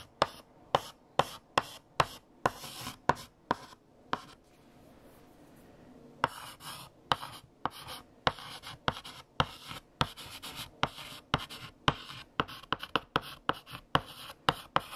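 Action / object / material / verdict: scrape / chalk on a painted chalkboard / chalk / none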